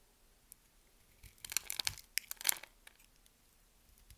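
A hand-sized, solid yellow soap bar is held in the hand and scored with a metal blade in a chevron pattern, the blade cutting and scraping the soap. After a quiet start, a cluster of crisp, bright scraping and crackling bursts builds in the middle of the clip, then fades back to near silence with a few faint ticks.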